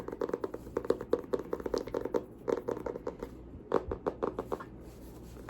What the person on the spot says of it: This one has a little bit of a different sound to it.